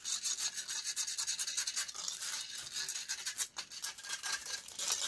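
Long nails scratch and rub rapidly across a hollow metal wire-mesh microphone grille. The result is a steady stream of bright, raspy, hissing strokes with almost no low end, each scrape quickly following the last.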